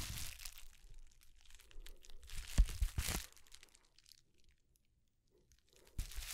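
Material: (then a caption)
Plastic. A thin, flexible, roughly hand-sized sheet of plastic bubble wrap is held close and handled with the fingertips of both hands. It is bunched up, then spread flat while being crinkled, squeezed and rubbed. The result is soft crackling and crinkling with a few sharper pops and a near-silent pause before a final burst of crinkles.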